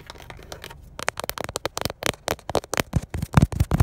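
Fingernails lightly scratch, then tap, the surface and seam of a textured black plastic steering wheel airbag cover with a chrome Honda badge, a hollow mounted panel. A faint, soft scratching fades into a run of about twenty quick, dry taps. The taps are short, hollow knocks with no ring, growing firmer and lower toward the end.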